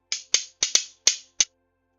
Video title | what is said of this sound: Community Distance Reiki & Crystals: Bumblebee Jasper, Amazonite, Jet, Polychrome Jasper, Sodalite.. | it sounds like wooden beads because they are actually wood even though they don't look like it